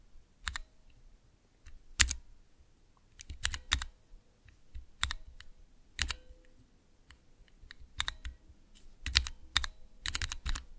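Individual keys on a small Cherry MX switch tester with clear transparent plastic keycaps are pressed with fingertips and nails. Each press makes a short, sharp, bright click with a soft low thud beneath it. The clicks come at irregular intervals and die away almost at once, with near silence between them.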